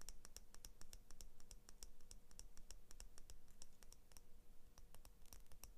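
Long fingernails tap rapidly along the steel blade of small kids' scissors with orange and blue plastic handles. The result is a fast, uneven run of sharp, bright ticks over a steady low rumble, with a faint thin ring from the metal between taps.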